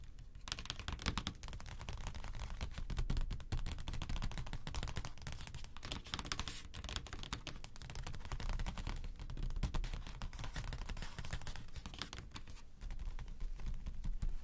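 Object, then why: Spiral-bound desk calendar with cardboard cover. Both hands tap rapidly with fingertips and short nails on a flat spiral-bound desk calendar with a light blue cardboard cover lying on a table, like typing. The result is a dense, continuous stream of short, dull clicks with a low thumping body and only a little brightness.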